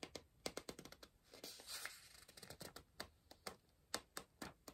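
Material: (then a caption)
Paper. A pencil scratches and taps rapidly on the paper page of an open softcover word-search book, staying on the same spread. Quiet, dry, bright clicks and short scrapes come in a quick irregular series, with a longer scratching stroke near the middle.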